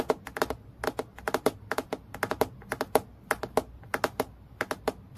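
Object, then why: Clear acrylic plastic clipboard. Long fingernails tap rapidly on the surface of a transparent acrylic plastic clipboard lying flat, producing about 28 crisp, clicky taps in quick, uneven bursts. Each tap is short and dry, with a hollow plastic tone near 440 Hz and a bright edge, dying away almost instantly.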